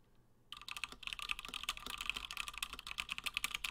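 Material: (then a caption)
PBT plastic. A 60% plateless through-hole Gingham mechanical keyboard with Gateron Black switches and cream and blue PBT plastic keycaps sits on a desk mat while both hands type continuously, fingertips pressing the keys. After a brief quiet moment, a steady stream of short, bright, clacky keystrokes begins, each dying away almost instantly, with little low-end thump.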